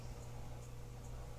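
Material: Nothing is struck.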